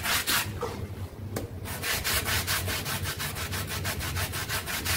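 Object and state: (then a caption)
Synthetic pile carpet rug. A handheld red stiff-bristle brush vigorously scrubs a small rectangular brown synthetic pile carpet sample covered in white cleaning powder and lying on a floor. Rapid back-and-forth strokes make a steady, bright, scratchy rasping with a brief lull near the start. The rhythm then settles into fast, even scrubbing to the end.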